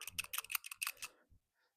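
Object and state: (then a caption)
PCV valve rattling freely, check valve working. A new PCV valve for a 1968 Mustang 302 V8 small-block is shaken close to the mic, giving a quick series of bright, dry metallic clicks that trail off into a couple of faint ticks. It rattles freely, showing its internal check valve moves as it should.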